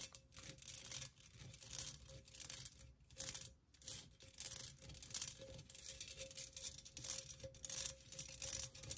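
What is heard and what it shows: Long nails tap and scratch the outer wall of a hollow, empty pink perforated metal pencil cup with cutouts. The sound is a bright, dry, irregular scratching and tapping with very short, quick-fading taps over a faint steady hum near 550 Hz.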